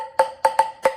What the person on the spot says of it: that has kind of like a softer plastic here sound